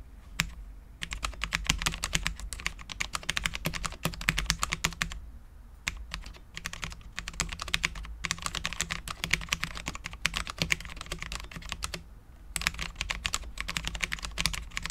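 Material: ABS plastic.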